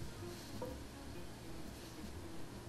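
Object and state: Nothing is struck.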